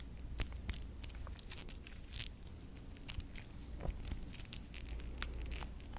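A small stainless steel wristwatch with a square face and a fine metal mesh strap is handled close to the mic while long nails scratch and tap its case and clasp and the band is flexed. Quick, bright metallic clicks, taps and crinkly scratches ring out over a steady low hum.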